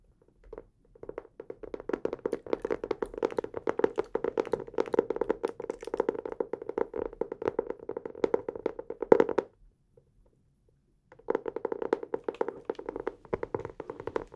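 Fingertips tap rapidly on the cover of a blue hardcover notebook held upright in both hands, making a dense run of short, dry taps with a mid-pitched hollow tone and no ring. The tapping stops for about a second and a half near the ten-second mark, then resumes at the same quick pace.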